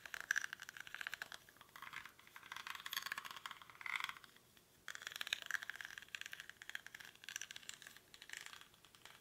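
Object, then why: Small woven rattan basket. Fingernails scratch the weave of a small, hollow woven rattan or reed basket held in both hands, its contents not visible. The result is a dry, crackly, rattling scrape concentrated in the mid and high range with no low end, coming in dense bursts that briefly go quiet just before the midpoint before resuming.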